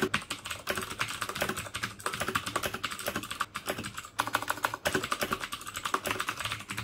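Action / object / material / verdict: tap / plastic mechanical keyboard / plastic / none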